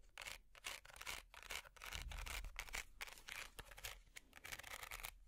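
Long metal finger picks scratch across a small, hollow, empty woven wicker basket. Irregular bursts of dry, bright, crackly rasping come in quick, uneven strokes, each fading almost immediately, with a faint low hum underneath.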